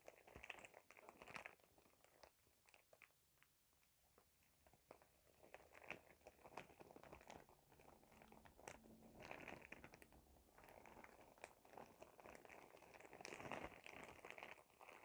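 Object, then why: Thin plastic shower cap. A clear plastic shower cap with a cartoon print is held close and crinkled by hand. It makes dense, bright crackling and rustling in uneven bursts, with sharp snaps between quieter stretches. The crinkling grows fuller and louder toward the end.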